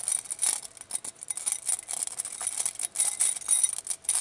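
A clear glass bowl full of small glass glitter vials and beads is held in a hand with long nails, shaken and turned so the contents clink against the glass. A dense, rapid stream of tiny, bright, high clinks and rattles fills the clip, with no low end. Each tick dies almost instantly.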